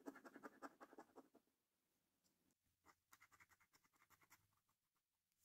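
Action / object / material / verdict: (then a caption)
scrape / paper lottery scratch card / paper / none. A coin edge held in the fingertips scratches the coating off a thin, flat paper National Lottery Snack Stack scratch card lying on a wooden table, working over the order numbers and game panels. A quick run of dry, rasping strokes is followed by a brief pause, then another burst of rapid scratches that thins out into a few fainter ones.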